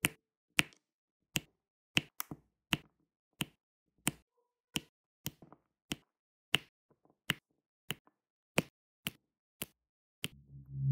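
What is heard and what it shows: A metal-tipped pen tool taps small solid square resin diamond painting drills into place in rows on an adhesive canvas. Eighteen separate light, bright clicks come at a slow, uneven pace, each very short with almost no ring. A low, rising rumble enters at the very end.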